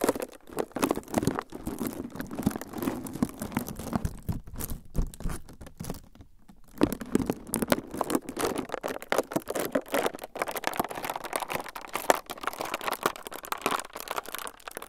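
A transparent, clear plastic film sheet is held in both hands above the recorder and crumpled with the fingertips. It makes a dense, continuous crinkling and crackling with sharp bright clicks over a mid-range rustle. The crinkling eases briefly around the middle before resuming just as busily to the end.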